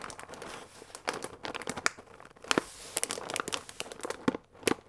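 A full paper fusilli bag with a plastic window, held upright, is squeezed and crinkled with fingertips. It gives a steady run of dry, papery crinkles with sharp, bright crackling snaps and almost no low end. Each crackle stops almost instantly.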